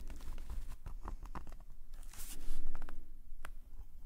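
A metal nib pen scratches dense hatching strokes across a black paper sketchbook page lying flat. Quick, irregular, dry scratches and crisp taps sound over a low rumble, swelling into a brighter, louder scraping stroke midway before settling back to lighter strokes.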